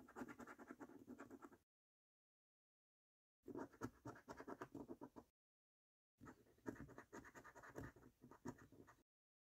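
A coin scratches the latex coating off the panels of a thin, flat paper £15 National Lottery "3x £1 Million Snack Stack" scratchcard. Three separate bursts of quiet, gritty, rapid scraping strokes are heard, with their energy in the low-mid to mid range. Each burst is separated by silence.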